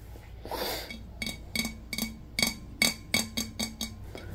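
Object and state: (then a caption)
Ceramic vase. A large, round, hollow, empty glazed ceramic vase with a floral pattern, held in both hands, is tapped with the fingertips on its body and near the wide rim. After a brief soft rustle, ten bright, clinking taps follow, each carrying a clear ringing tone around 2.2 kHz over a faint low hum near 220 Hz, and each fades quickly.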